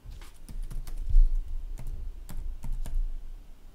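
Fingertips tap steadily on the red-backlit plastic chiclet keys of a gaming laptop resting on a wooden desk. The keys give short, dull clicks with a low thump and brief bright ticks, each dying away quickly under a soft, constant low rumble.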